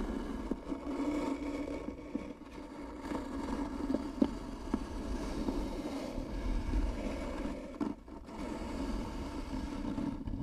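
Long nails scratch slowly and hard across the grooved surface of a light, apparently hollow wooden box, giving a steady low, rasping drone with a hollow tone. A few sharp ticks stand out as the nails catch on the ridges, and the sound dips briefly near the end before the scratching resumes.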